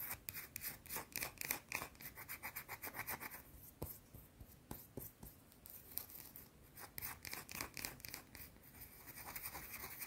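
Long blue-painted nails scratch and rub a small, solid, round white soap bar held in the hands. The result is quiet, fast, bright scratching strokes in an uneven rhythm, with a few sharper, isolated taps midway through.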